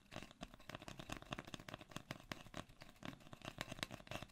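Hands grip, twist and rub a long, hollow brown cardboard mailing tube held upright close to the mic. The result is a quiet, steady stream of dry, papery scrapes and scuffs with a faint hollow low resonance and bright, crackly edges, each burst stopping almost instantly.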